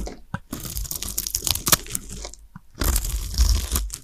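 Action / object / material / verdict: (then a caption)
scrape / soap bar / soap / none. A solid pale green dry soap bar, about palm-sized and held in the hands, is scraped by a small blade that cuts thin shavings off its surface, and the shavings pile up nearby. Dry, crisp crunching and scraping strokes come in quick bursts with bright, gritty detail. A short quieter gap falls midway before the scraping resumes more heavily.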